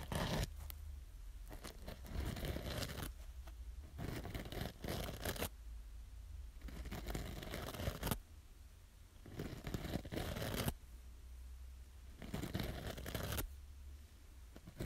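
Long nails scratch along the green scouring edge of a small yellow foam kitchen sponge, making bursts of rough, bright rasping. The strokes come in repeated passes with quieter gaps, over a steady low hum.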